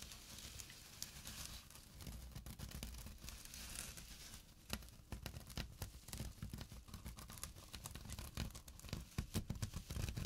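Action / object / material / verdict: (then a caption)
scrape / burlap drawstring pouch / burlap / none. Short nails scratch across a small, flat burlap pouch with a drawstring, making rough, crackly scraping bursts. Quick dry rasps and clicks sit over a low, close rumble, with sharper bright scratches growing denser toward the end.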